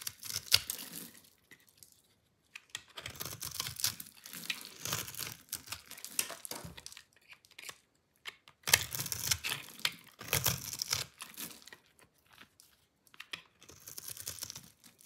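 A metal utility-knife blade scores and scrapes a solid rectangular bar of dry pink soap held in the hand. Bright, dry crackling and crunchy scratching come in short bursts separated by brief silences. Each stroke sounds gritty and hissy, with almost no low end and no ring after it stops.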